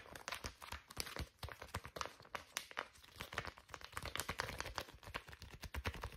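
A small, soft white-and-green plastic pouch of facial wipes is held flat in both hands and scratched and tapped with long fingernails. It gives a steady run of quick crinkling taps and rustling scratches with no ring after each touch.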